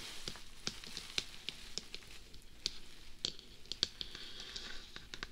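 Fingertips and nails tap and scratch a hollow, life-size, black hard-plastic dummy-head binaural microphone, first on top of the head and then on the face and sides. The result is quiet, dry, bright clicks and ticks that stop almost instantly, with soft scratchy rustling between them.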